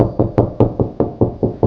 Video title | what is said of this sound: SMALL LAUNDRY ROOM DIY MAKEOVER - Stylish Shelving Ideas - MORE STORAGE ON A BUDGET | see how it's kind of a hollow sound there